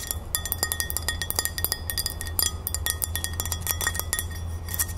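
A medium, thin, solid white glazed ceramic crown-shaped plate is held upright and tapped fast and scratched with long nails, with a large metal ring on the tapping hand possibly adding faint clinks. The result is a rapid stream of short, bright, glassy clicks with a thin ring around 2 kHz, each dying away quickly, over a steady low hum.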